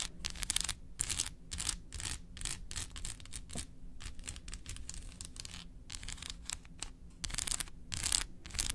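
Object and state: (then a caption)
Milk chocolate bar. Long acrylic nails tap and scratch the embossed segments of a large solid milk chocolate bar held in hand. The result is rapid, dry, bright scratching in quick bursts, separated by brief gaps, over a low background rumble.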